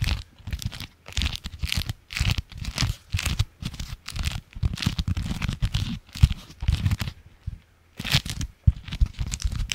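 A folded, striped beeswax-coated fabric food wrap is held in the hands, crinkled and scratched with the fingernails. It gives dry, tearing crinkles and scratchy crackles in quick irregular bursts, with a low thumpy body and bright crackle on top. Each burst stops dead with no ring, separated by brief near-silent pauses.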